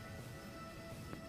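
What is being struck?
Nothing is struck.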